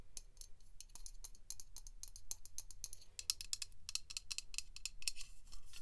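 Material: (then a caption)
Aluminium. Long pink nails tap and click on the body of an upright Dove aluminium aerosol deodorant can and near its pink plastic cap. The result is a quick, uneven run of sharp, bright metallic clicks that die away almost instantly, over a faint low hum.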